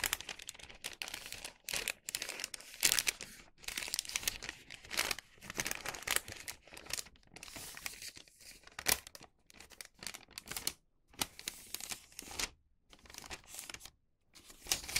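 A hollow, thin printed wax paper bag is opened and folded by hand and fingertips, giving bright, dry crinkling and crackling in bursts separated by short pauses. The sound is mostly high-pitched rustle with almost no low end and no ring after each crinkle.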